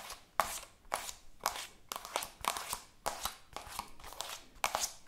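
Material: Plastic.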